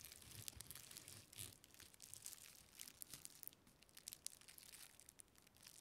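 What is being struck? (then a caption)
Thin clear plastic packaging strip. A small, thin, flexible clear plastic packaging strip with a textured surface is held in both hands and crinkled and rubbed with long painted fingernails and fingertips. Dense, bright crackling and crinkling fills the clip, with quick sharp snaps and brief louder bursts over a quiet low rumble.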